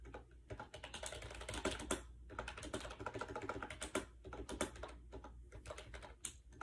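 A compact gray plastic AJAZZ 308i wireless Bluetooth keyboard with round white keycaps rests on a bed while fingertips type fast across its hollow plastic keys. The result is a dense, continuous stream of light, hollow clacks with short, dry decays over a low background hum.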